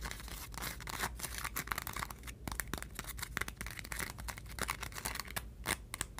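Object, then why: Crinkled aluminium foil sheets. Long painted nails tap and scratch across a stack of flattened, crinkled aluminum foil sheets resting on a table. A dense stream of quick, crisp crackles and scrapes with a bright, papery rustle follows, each tap cutting off almost instantly over a faint low hum.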